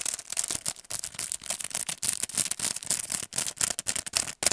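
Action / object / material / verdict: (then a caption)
scrape / cardboard card with clear plastic blister / plastic, cardboard / none. A paint brush set in a long, narrow pack, with a clear plastic blister on a cardboard card, is held upright and tapped and scratched with the fingernails. The result is a fast, irregular run of crisp plastic clicks and scratchy crackles. The sound is bright and hissy, with almost no low end and very short decays between bursts.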